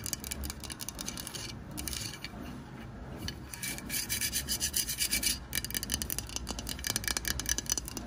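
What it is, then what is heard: Plastic craft pumpkin. Long white nails scratch and rub along the ridged sides and painted lettering of an orange, hollow, artificial plastic craft pumpkin. The result is a dense, bright, rasping scratch with quick uneven strokes, brief quieter stretches, and a faint low rumble underneath.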